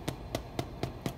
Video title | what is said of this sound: Challah bread French toast part one | if i tap on it i hear that it's hollow so to that indicates to me that my bread is complete